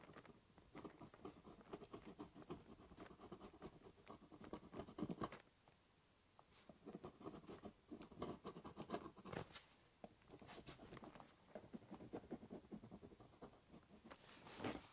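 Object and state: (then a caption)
Cardboard box scratched with a pen. The tip of a ballpoint pen traces letters across a large, hollow, brown corrugated cardboard box, making quiet, rapid, dry scratching that rasps over a papery midrange with brighter flicks. The strokes run in dense bursts, stop briefly just past the five-second mark, then pick up again and continue to the end.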